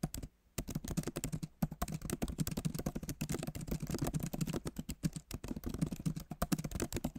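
Both hands' fingertips type steadily on the backlit keyboard of a MacBook Pro, plastic keys set in a solid aluminum body. Soft, dull clicks come in a fast, continuous stream with brief pauses near the start. Each tap is short and low-toned, with almost no ring.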